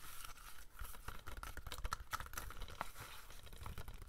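A hollow plastic DVD case of The Day After Tomorrow, held in both hands, is lightly tapped and scratched with fingernails. The result is a quiet, steady run of soft clicks and dry, crinkly scratching over a low, muffled thump.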